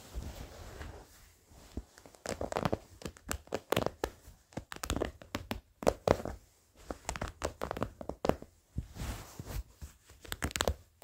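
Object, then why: Denim jeans. Fingertips and short nails scratch old blue denim jeans along a stitched seam. Dry, rasping bursts of scratching come in short strokes and clusters, separated by brief quiet gaps, with a soft, fabric-dulled tone and no ring.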